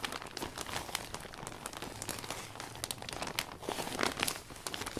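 A hand wipes and rubs the inside of a large, open, new umbrella with a thin iridescent vinyl canopy, using a blue microfiber cloth to clean it down. This produces a steady, bright, crinkly plastic rustle with many quick crackles and swishes and little low end.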